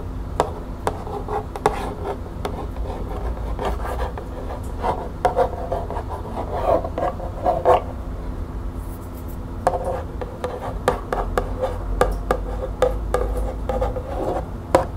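Long painted nails scratch and tap the front face of a small, hollow, printed cardboard green tea box held in the hand. Quick, dry taps with a hollow midrange knock around 500 Hz are interspersed with soft rubbing scratches over a steady low background hum.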